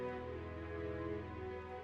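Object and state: Nothing is struck.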